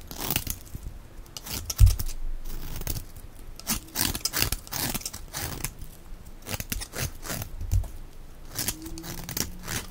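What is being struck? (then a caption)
Bar of soap. A box-cutter blade scrapes and shaves the surface of a solid, dry, oval white-and-teal striped Alviero bar soap held in the hand. Repeated dry, crunchy rasping strokes come in quick bright bursts with short pauses and a few low thumps between them.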